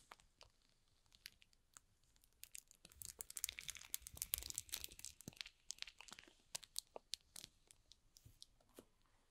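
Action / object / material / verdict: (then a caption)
scrape / cardboard box in plastic film / plastic film / none. Fingertips rub and grip a small, hollow cardboard box wrapped in shrink-wrap plastic film, making crinkles. Quiet, bright crackles and sharp ticks build into a dense, louder burst of crinkling near the middle, then thin out into scattered crisp snaps.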